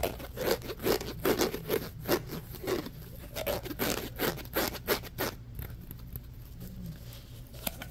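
Fingernails rub and rasp quickly along the ridges of a hollow, orange corrugated plastic pop tube held horizontally. Fast, uneven bursts of dry, bright rasping scratches repeat over a low steady hum for the first five seconds, then thin to quieter, sparser scraping.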